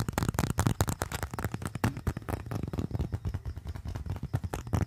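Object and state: Leather wallet.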